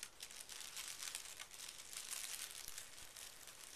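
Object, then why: Tissue paper sheet. A folded pink tissue paper sheet lying on carpet is smoothed and rubbed with fingertips and short nails. It makes a soft, steady crinkling rustle, mostly bright and airy, with gentle swells and small crackles throughout.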